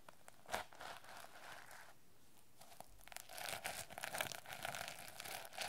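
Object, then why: Plastic sequin-covered notebook cover. A teal sequin-covered notebook with a plastic sequin cover is held in the hands while its sequins are brushed and scratched with long nails and fingertips. Quiet, crinkly scratching starts with a sharp click, dips into a near-silent lull, then returns as denser, louder rustling and raspy scraping with bright, clicky edges.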